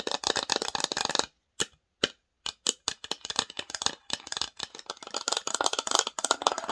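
Long nails scratch and tap the lid, sides and inside of a small, open, varnished wooden box. A rapid run of dry, bright clicks and scrapes breaks off into a short near-silence with a few isolated taps, then picks back up into dense, quick tapping until the end.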